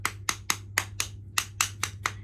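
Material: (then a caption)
Plastic. Ten sharp, bright taps land around the edge and top of a press mold packed with bubble bar mixture, each a quick click with a brief hollow ring, over a faint steady low hum. The clean taps show the bar is releasing freely and not sticking, an improvement after the formula was fixed.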